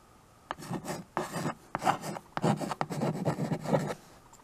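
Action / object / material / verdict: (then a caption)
scrape / chalk stick on a framed chalkboard / chalk / none. A white chalk stick scratches and rubs across the dark writing surface of a small tabletop chalkboard with a wood-look frame, held still by one hand while the other writes "Thank you all!!!! Please." Short bursts of dry, raspy scraping start and stop with each stroke, separated by brief quiet gaps.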